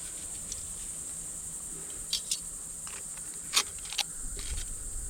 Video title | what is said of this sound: Bacon Cheddar Fish Burgers - Deep Fried to Perfection - Catch and Cook | You can hear how crispy those are